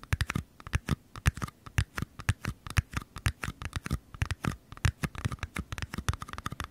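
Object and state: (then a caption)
Small paper cup. Short nails and fingertips tap and scratch the walls of two identical small, empty, hollow white paper cups, one held on each side of the microphone. A rapid, irregular run of dry, hollow taps with a low thump around 94 Hz is heard, mixed with light scratchy rustles. Each tap dies away almost instantly.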